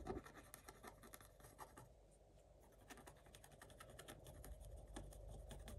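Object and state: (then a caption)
Scratch-art paper page. A wooden stick scratches quick, short strokes across a coated scratch-art page in a spiral notebook. The result is a quiet, irregular run of dry, crackly scratches with bright edges, each stroke dying away almost at once over a faint low rumble.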